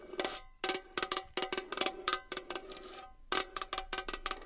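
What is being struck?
Small metal box.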